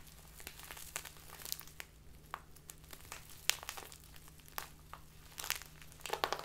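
A small crinkly plastic bag filled with tea is handled and crinkled with fingers and long dark nails. The result is irregular, bright crackling crinkles with sharp, quick snaps scattered throughout and a steady low hum underneath.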